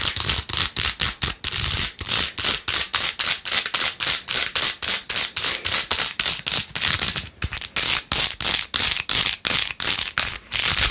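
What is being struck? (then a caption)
Plastic phone case covered in plastic pearl beads. Long acrylic nails fast-scratch and tap rows of pink plastic pearl beads glued onto a handheld, rose-gold-edged plastic phone case. The result is a quick, uneven run of dozens of short, bright, crisp scratchy bursts, about three or four per second. Each burst is dry and clicky with almost no low end and dies away almost at once.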